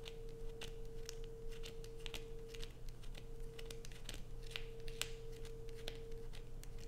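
Long acrylic nails scrape a solid blue bar of soap held in the hands, sending shavings falling. Quick, dry, crisp scratches and clicks come in a rapid irregular stream over a steady low hum and a faint constant mid tone.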